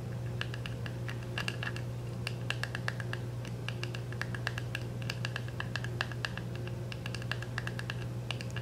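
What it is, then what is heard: Cellophane-wrapped plastic compact. Fingernails scratch and tap on a small round dark plastic makeup compact, still sealed in clear cellophane wrap and held up to show its labelled back. Quick, bright crinkly clicks and scratches patter irregularly over a steady low hum.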